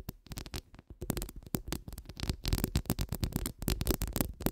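Long nude acrylic nails rapidly scratch a hollow woven steel microphone grille. It makes a dense stream of quick, scuffing scrapes with a heavy, rumbly low end and bright, crackly edges that swell and fade in irregular bursts.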